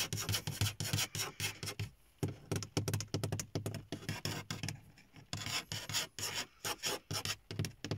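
Fingertips and nails tap and rub across the top of a large, hollow car dashboard made of dark grey textured hard plastic. Quick bursts of taps each give a dull, hollow thump around 100 Hz layered with a bright, scratchy rasp. Every hit dies almost instantly, with brief pauses near the 2- and 5-second marks.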